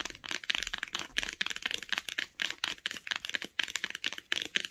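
Long acrylic nails tap fast along the solid spine of a closed hardcover book with a printed paper or cloth spine. The result is rapid bursts of sharp, dry clicks with a bright tone, no low end, and almost no ring after each tap.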